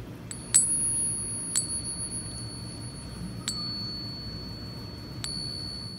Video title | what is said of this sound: A FAKE GOLD BUFFALO HOW TO SPOT IT and How We Know for Sure! | nice ring like a bell